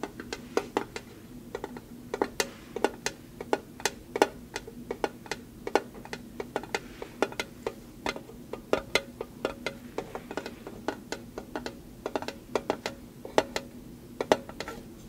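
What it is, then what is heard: Small metal tin tapped with nails. Long nails tap and scratch a small, hollow, decorative metal mailbox tin printed with a cardinal design. Quick, dry, bright clicks come in irregular bursts and die away almost at once, with a faint tinny tone near 625 Hz. A soft, steady low hum sits underneath.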